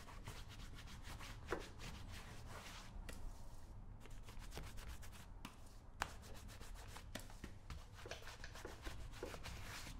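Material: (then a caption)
Wax, metal. Fingertips rub and swirl the surface of brown shoe wax in a small, round, open metal shoe polish tin held in the palm. The result is a quiet, steady, dry rubbing texture over a low rumble, with bright, crisp ticks and clicks scattered throughout and a few sharper taps standing out.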